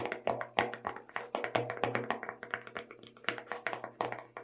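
Long red nails tap quickly and irregularly on the lid and sides of a small clear plastic tub full of colorful sugar sprinkles, its lid bearing a purple label. The clicks are sharp and tightly damped, with a midrange hollow tone near 480 Hz and bright edges, fading almost at once between uneven bursts.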